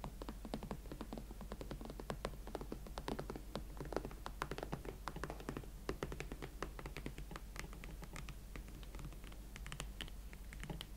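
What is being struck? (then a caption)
Leather platform boot. Fingertips slowly tap hot pink leather Valentino Club platform boots, making a steady run of short, dry, soft taps with faint scratchy touches. The taps die away almost at once over a constant low hum.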